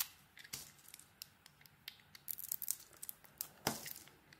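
A metal blade scrapes the green dotted coating off a solid translucent bar of soap held in the hand. Quiet, bright, crisp scratches and crackling ticks come in scattered bursts, busiest in the middle, with the loudest scrape near the end and almost no low end.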